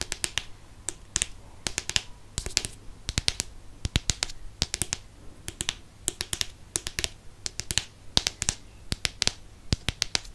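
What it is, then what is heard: Hardcover book. Fingertips and nails tap the front cover of a *Chamber of Secrets* hardcover book, made of solid paper-covered board and held close to the microphone. About 51 quick, sharp taps land in uneven clusters, each a bright, dry click that dies away almost instantly over a faint steady low hum.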